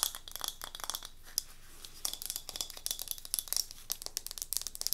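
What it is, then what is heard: Wooden block candle holder. A small solid light-wood cube tealight holder, held in both hands, is tapped and scratched with long nails on its grooved wooden faces. The result is a rapid, uneven stream of crisp, bright clicks and dry scratching with almost no low end. Each tap dies away almost instantly.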